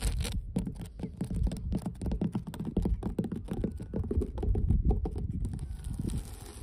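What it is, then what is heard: Weathered wooden dock boards. Long blue nails and fingertips of both hands scratch and tap along the grain of solid, weathered wooden dock planks outdoors, recorded very close. A dense, continuous run of dull, low-pitched taps and rough scratching follows, with each hit dying away quickly.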